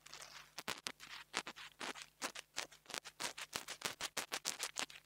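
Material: Metal.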